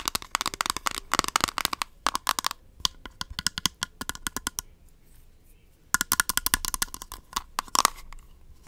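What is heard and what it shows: Long nails rapidly tap and scratch the rim and clear lid of a small, hollow, round plastic Rimmel Stay Matte powder compact. The result is dense bursts of sharp, dry, bright clicks with a hollow plastic tone near 1.1 kHz and no ring, pausing briefly near the middle before resuming.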